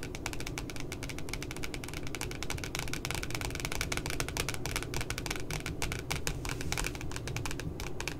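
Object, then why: Spiral notebook with cardboard cover. Long glittery nails tap rapidly on both sides of the glossy cardboard back cover of a puppy-themed spiral notebook. The clip is a steady stream of dense, crisp, bright clicks with very short decay over a constant low rumble, keeping an even level throughout.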